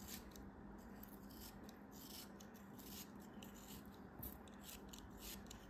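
A small, solid beige kinetic sand block held in the hand is cut and scraped with a craft knife blade. It makes a quiet, steady gritty scraping and crumbling sound, with soft bright hissy bursts as the blade drags through the sand.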